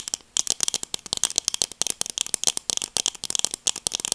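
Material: Plastic.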